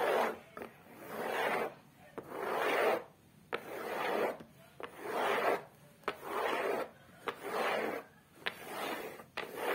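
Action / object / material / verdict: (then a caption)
scrape / cork board on the back of a photo frame / cork / none. Long acrylic nails scratch and rub across the rough, flat beige cork-textured board on the back of a photo frame, which is solid. Slow swelling rasps rise and fade in a loose rhythm of about 47 strokes a minute, each a dry, grainy hiss centered in the midrange with almost no low end. Eight short, sharp clicks land between the strokes.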